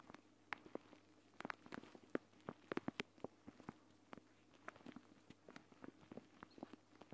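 Fingertips and long nails tap and scratch across a flat, clear plastic gel bead eye mask, a pouch filled with green gel beads lying on a mat next to the recorder. The result is a quiet, irregular series of short, crisp plastic taps with faint scratching between them, over a low steady background hum.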